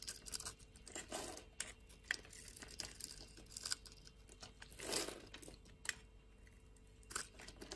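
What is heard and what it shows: A metal utility-knife blade shaves flakes off a solid purple bar of soap with a diamond-scored surface, held in the hand. The sound is a quiet, bright run of crisp scraping and crackling, with sharp little clicks and two longer, fuller shaving strokes near the middle and start. Each cut stops dead with no ring.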